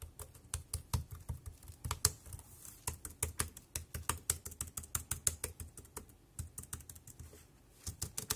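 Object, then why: Plastic wireless keyboard keys. Fingertips type on a compact dark grey plastic Bluetooth wireless keyboard with round keys and a hollow body, resting on a black plastic bag. A quick, uneven run of short clacks mixes a hollow low thud with a bright click, and each keystroke dies away almost instantly. The typing slows briefly near the end before resuming.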